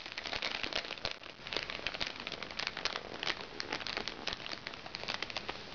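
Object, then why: Plastic makeup bag. A small, crinkly recycled plastic makeup bag resting on a lap is scratched and tapped by red-painted fingernails. Dense, bright crinkling and crackling fills the clip, with sharp little taps rising out of a steady rustle. The sound is mostly high and papery, with very little low end.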